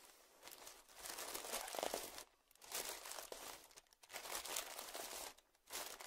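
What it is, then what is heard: Plastic zip bag crinkled. A small, puffed-up clear plastic zip-lock bag lying on dark fabric is pressed, squeezed and crinkled with the fingers of both hands. Bright, crackling crinkles come in dense bursts with brief quiet gaps between the squeezes.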